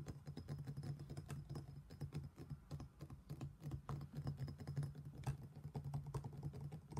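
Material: Stone.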